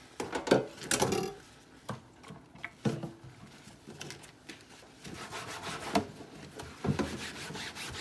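A flat, thin, translucent white plastic cutting board, wet and soapy and held in a sink, is rubbed and scrubbed with a pink sponge by rubber-gloved hands. Irregular bursts of wet, squeaky scrubbing strokes rise and fall, with a soft brushing texture between them.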